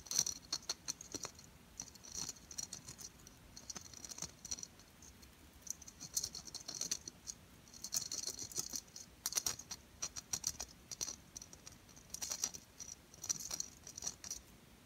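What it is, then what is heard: Glitter-coated plastic ball ornament. Long purple-painted nails tap and scratch a small, round, hollow ball ornament, most likely shatterproof plastic, coated in gold-silver glitter and hanging on a white artificial tree. Quick, dry clicks and gritty, rasping scratches come in irregular bursts, bright and high with almost no low end, and each one dies away instantly.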